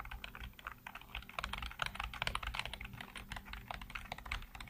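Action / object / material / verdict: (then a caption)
tap / plastic computer keyboard / plastic / none. Fingertips type rapidly on the keys of a black plastic backlit computer keyboard. The result is a fast, continuous stream of short, dry plastic clicks and clacks with a bright, mid-to-high tone, over a faint steady low hum.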